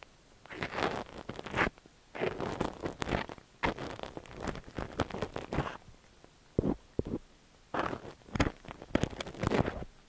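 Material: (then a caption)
Silicone. A thin steel ear pick scrapes inside the ear canal of a cream silicone dummy-ear microphone while fingertips hold the ear. Close, crackly scratching and rustling comes in bursts with brief pauses between them, bright and gritty on top over a soft low rumble.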